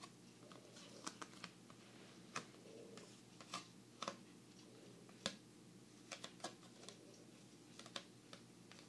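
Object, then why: Oversized paper playing card. An oversized thin paper playing card, the seven of hearts, is held in both hands while fingertips and nails tap, flick and bend it. Short, crisp, papery ticks and snaps sound at an irregular pace over a quiet, steady low hum.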